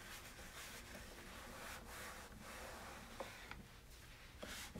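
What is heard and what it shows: Hands rub a cloth over the reservoir lid and top of a white, hollow plastic coffee maker, making a quiet, steady wiping swish with a bright, airy texture. A few faint light clicks poke through near the end as the cloth moves across the plastic.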